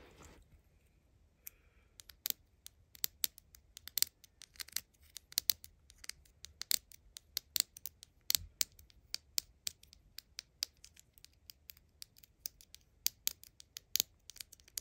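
A small, hollow purple plastic miniature spray can, a Mini Brands toy held in the hand, is tapped and scratched with long acrylic nails. The result is a quiet stream of sharp, bright clicks and scratchy ticks over almost 15 seconds, almost entirely high-pitched with no low end, each one dying instantly.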